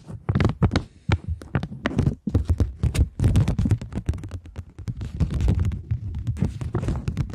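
A polymer £20 banknote is flexed and scratched with long manicured nails. The result is a dense run of crinkling, rustling scrapes and sharp crackly bursts with bright edges, over a heavy, low-weighted thumping body.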